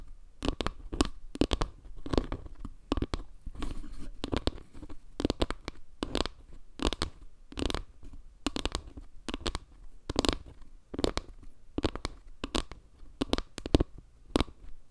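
Long nails tap and scratch near the center of a solid, round wooden panel made of log slices with dark center tiles. The result is a rapid series of short, dry taps with low, woody thumps and brief scratchy rasps in between. Each hit dies away almost instantly.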